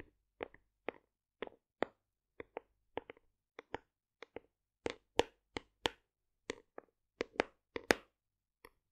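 A large white plastic OstroVit cocoa fiber supplement tub, likely hollow with powder inside, is held in one hand and tapped and scratched with long acrylic nails. The result is a loose string of quick, dry, hollow clicks and knocks centered in the mid range, some with bright edges and doubled taps. Each dies away instantly with no ring, over quiet gaps.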